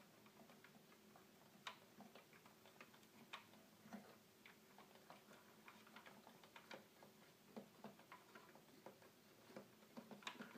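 Fingertips tap and click the small plastic buttons of a small, hollow red plastic toy keyboard in a fast ticking rhythm. Sixteen sharp, bright clicks stand out over a steady low hum, each dying away almost at once.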